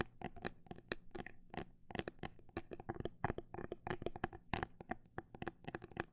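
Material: Plastic.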